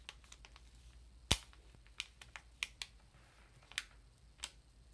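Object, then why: Ream of paper in plastic wrap. Long nails tap the plastic wrap on a Georgia-Pacific 500-sheet ream of paper, then hands grip its sides. About nine sharp, bright clicks and crinkles sound with quiet gaps between them and a faint low hum underneath.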